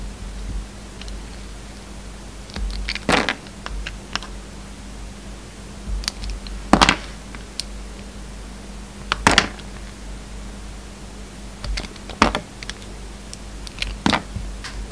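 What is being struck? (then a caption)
Bar of soap cut with a knife blade. A hand-held solid white soap bar with red flecks and glitter remnants is carved and scraped with a utility knife blade. Short bursts of crisp, dry scraping and cutting come in separate clusters, with quiet gaps between them. A steady low hum runs underneath throughout.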